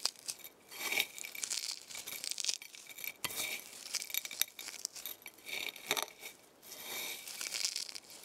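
A pile of dry, brittle eggshell fragments on a white plate is pressed and crushed under fingertips with long painted nails. Bursts of bright, crisp crunching and crackling rise and fall, with almost no low end. The shells crumble into smaller pieces.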